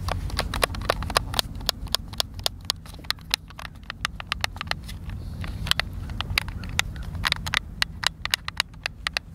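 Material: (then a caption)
Plastic. A white, hand-sized, hollow plastic Xbox controller is held in both hands while fingertips and thumbs press and click its buttons. Sharp, bright, dry clicks come in a quick, uneven stream over a steady low rumble, each snapping off instantly with no ring.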